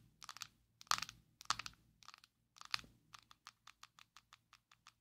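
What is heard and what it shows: Long nails tap and scratch a small, closed, square black plastic Maybelline Fit Me loose powder jar held in both hands. Quick, dry, scratchy clicks and louder scraping bursts come first, followed by a steady run of sharp, bright, separate taps. The taps have a hollow plastic tone centered near 1.2 kHz and die away almost instantly.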